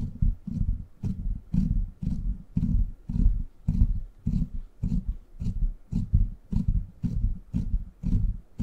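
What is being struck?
Steel mesh microphone grille.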